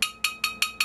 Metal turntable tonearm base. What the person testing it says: this lower surface is the most resonant part of this tonearm assembly